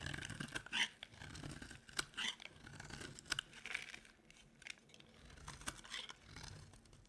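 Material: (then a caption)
Soap. A utility knife blade scrapes a solid, dry cream soap bar, making bright, crisp, crunchy scraping strokes in short bursts with sharp clicks between them. Each stroke stops quickly with almost no ring, and little low end sits under the high, gritty rasp.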